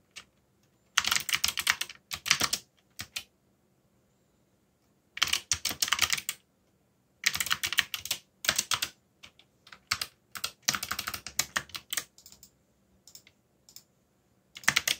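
Fingertips type on a backlit plastic mechanical keyboard with dark plastic keycaps, producing bursts of rapid, bright clicking keystrokes separated by short pauses. The clicks are sharp and quick-decaying, with most energy in the high range and almost no low end.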